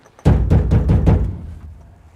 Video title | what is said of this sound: 39 Years Old Ford F150 Cranks But Won't Start - Can We Fix This Old Truck? Part 1 | How does that sound? So this fuel tank is empty.